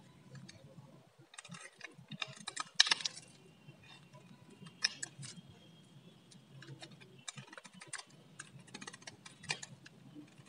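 A solid blue bar of dry soap, held in the hand, is scraped and carved with a metal blade, shaving off crisp strips from its face. Quiet, dry, bright scratching and crackling comes in short bursts, with a few louder sharp snaps standing out, over a low background hum.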